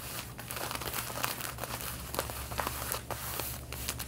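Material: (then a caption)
Denim. Long red-painted nails scratch the back pockets of light blue denim jeans being worn, making a dense, rough scratching with crinkly high rasps over a steady low hum. The strokes come in quick, uneven bursts at an even, quiet level throughout.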